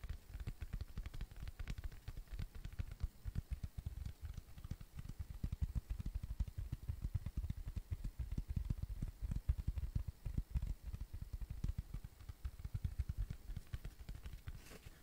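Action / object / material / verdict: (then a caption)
tap / cork coaster / cork / none. A round, flat, tan cork coaster, thin and solid, is tapped and scratched with fingertips and nails. It gives a quiet, dense stream of rapid, dull, low thuds with very short decay and almost no high content.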